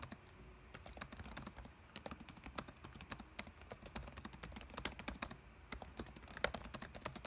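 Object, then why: Plastic laptop keyboard. Fingertips type continuously on a dark laptop keyboard with plastic keys, giving a steady stream of quick, dry clicks with bright, sharp edges. The taps die away almost instantly over a faint low background rumble, with a few keystrokes landing harder than the rest.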